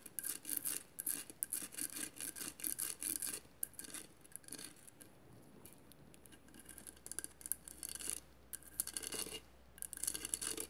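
Long nails scratch across a hollow cylindrical vase covered in small mirrored glass mosaic tiles, held by hand. The result is quiet, bright, gritty rasping in irregular bursts, with a calmer stretch in the middle before the scratching picks up again.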